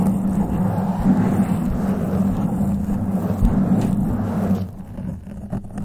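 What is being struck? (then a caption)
Foam microphone windscreen. Long, pointed glittery acrylic nails scratch with both hands at the soft, porous black foam windscreen covering the head of a grey metal studio microphone. The result is a dense, continuous low, rumbly scratching with a steady hum around 200 Hz and almost nothing high. The sound drops noticeably quieter and thinner for the last second.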